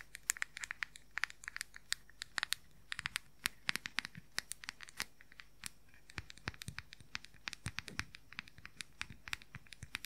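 Fingernails rapidly tap and scratch the lid and sides of a round, pastel, palm-sized hollow plastic makeup powder compact. The result is a quiet, fast, uneven run of sharp, bright, dry clicks mixed with brief crinkly scratches, each dying away instantly with no ring.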